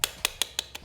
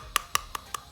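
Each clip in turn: First: Five quick, high, dry knocks that stop at once: a plastic charger brick that sounds solid and tightly packed. Second: Five light, clicky knocks on a plastic charger brick sound thin and empty, suggesting a hollow, non-original build.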